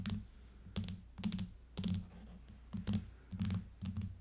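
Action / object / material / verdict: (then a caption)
tap / clear plastic case over an aluminium tablet / plastic / none. An iPad in a clear plastic case lies flat on a table and its back is tapped with the long fingernails of both hands. Quick clusters of soft, hollow taps sound with a low, thuddy body and a brief bright click at each nail strike. Each tap dies away almost at once, with quiet gaps between the bursts.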